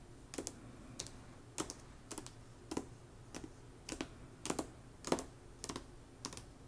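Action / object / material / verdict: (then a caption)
tap / hardcover book with paper dust jacket / paperboard / none. Long nails tap rapidly on the glossy paper dust jacket of a hardcover novel, *Slewfoot*, lying flat on a rug. The sound is quiet, dry, clicky tapping in irregular little bursts of two or three. Each tap is short, with a low-mid body and bright crisp edges that fade almost instantly.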